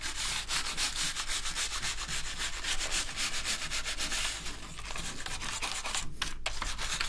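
Gloved fingers rub and press over the keycaps of a dirty, full-size black plastic gaming keyboard lying on a table. The result is a steady, bright, scratchy rubbing that sounds like sanding, with soft clicks and a low hum underneath. The sound eases briefly around the middle and again near the end.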